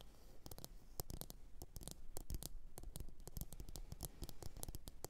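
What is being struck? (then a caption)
Upturned ceramic bowl. Long orange nails tap and scratch a medium glossy blue ceramic bowl, hollow and empty, resting upside down on a fur mat. Quick, dry, bright clicks come in a rapid, uneven stream over soft scratching, each dying almost instantly over a steady low rumble.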